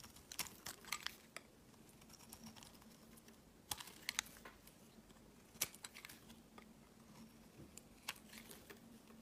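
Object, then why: Bar of soap shaved by a steel blade. A steel blade shaves thin slices off a solid white oval bar of soap held in the hand. Crisp, bright scraping and scratching strokes come in short bursts over a quiet, steady low hum. Each stroke ends almost at once, with no ringing.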